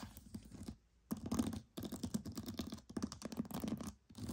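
Pearls are tapped and scratched in quick, dense bursts of soft clicking, separated by brief near-silent pauses. The clicks are dry and die away at once, with a faint steady low tone underneath.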